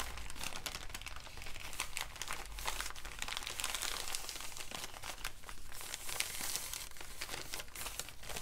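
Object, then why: Brown kraft paper bag. A small, empty, wrinkled brown kraft paper bag is held up in the hands and crinkled and crumpled with the fingertips. Dense, continuous crackling and rustling fills the clip with bright, papery noise over a steady low rumble.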